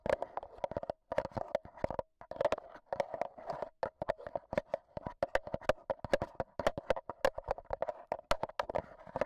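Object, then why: Metal mesh microphone grille of a handheld audio recorder. A black Zoom H1n recorder is held in hand while its metal mesh microphone head is tapped with AA batteries worn as long nails. Quick, dry clicks with a tonal ring near 570 Hz and bright transient edges come in rapid, uneven bursts separated by brief pauses.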